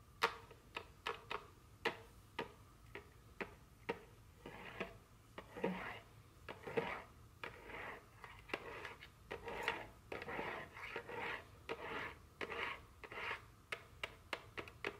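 Very long curved fingernails tap a small, full, sealed cardboard candy box in cellophane wrap held in one hand. Quick, dry clicky taps come in irregular bursts, mixed with soft crinkling rustles of the plastic wrap between them.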